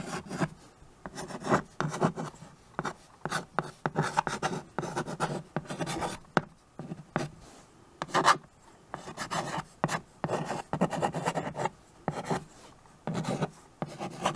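A stick of white chalk writes "Thanks for watching! Please" on a small, freshly wiped framed chalkboard held in the left hand. Short, dry, scratchy strokes rasp in quick bursts separated by brief pauses, with a low body and little high hiss.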